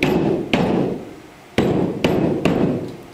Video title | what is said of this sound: Site Investigation | pretty clearly Hollow behind there um the sound would be completely different if it there's a solid structural component behind